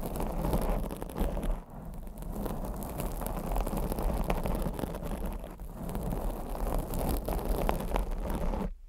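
Long blue acrylic nails scratch and tap a black foam microphone windscreen. The result is a dense, muffled, low rumbling scrape with soft thuds throughout, briefly easing around 1.7 and 5.6 seconds before cutting off abruptly at the end.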